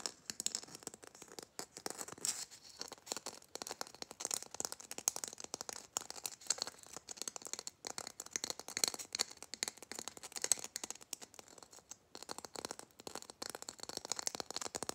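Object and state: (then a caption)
Glitter-coated Christmas bauble. Fingernails rapidly scratch and tap on the glitter surface of a red glitter-coated Christmas bauble with a metal hanger cap. Dense, dry crackling scratches and quick ticking taps run continuously, bright and hissy with almost no low end. The sound stays quiet and close throughout, with no ringing after each tap.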